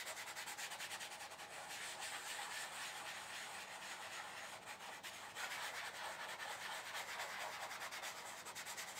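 Flat fingers and fingertips rub and blend chalk across a flat sheet of black paper lying on a table. A continuous, soft, dry scratchy rubbing with a bright, hissy texture and no low end carries on steadily for the whole clip, pulsing gently with the back-and-forth strokes.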